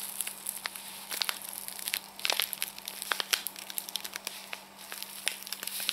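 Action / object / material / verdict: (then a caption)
scrape / paper and foil tea sachet / paper foil / none. A small, flat, individually wrapped Hampstead Tea sachet in a paper and foil envelope is held up close in both hands while long painted nails and fingertips crinkle and squeeze it. The result is a continuous stream of crisp, bright crinkling with many sharp crackling snaps, almost entirely high-pitched with no low end.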